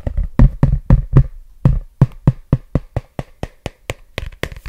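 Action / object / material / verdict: tap / paperback book with glossy cover / paper / none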